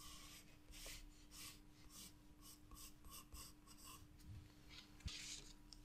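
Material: Paper.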